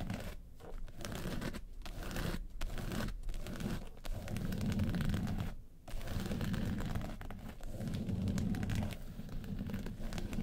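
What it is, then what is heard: Faux-leather makeup case being scratched. Long pointed acrylic nails scratch and tap the woven-texture faux-leather lid of a small, hollow, closed hard-shell yellow makeup case. A dense, low, crinkly scraping and tearing-like rustle runs almost continuously, broken by a few brief pauses. The sound stays muffled, with little bright content.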